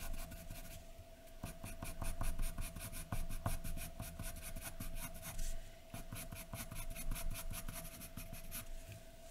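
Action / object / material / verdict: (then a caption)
scrape / graphite pencil on a sheet of drawing paper / paper / none. A graphite pencil scratches across a large white sheet of drawing paper lying flat, making short, rapid strokes as sideburn hair is drawn. The result is a dense run of dry, bright scratching with a faint steady tone underneath.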